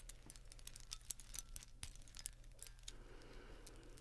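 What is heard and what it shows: Fingers handle and rustle a bundle of lit Christmas string lights with plastic bulbs and wires, producing quick bright crinkling clicks and ticks as the bulbs knock together. A steady low hum runs underneath, and the sound thickens into a denser rustle near the end.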